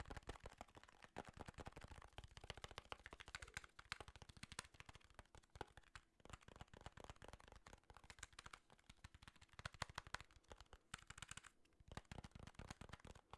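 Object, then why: Plastic handheld game console. Rapid, dense fingertip tapping on an original "fat" Nintendo DS, a plastic handheld console with a dented screen and a somewhat sticky surface. The taps come as quick, dry, clicky strikes with almost no ring, like fast typing, and run continuously throughout the clip.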